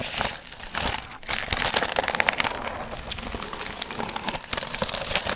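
Long nails scratch and rub the gold foil fringe on a hollow, pumpkin-shaped piñata. The result is a steady, bright crinkling and crackling with dense rapid scratches and little low end, swelling in a few louder bursts.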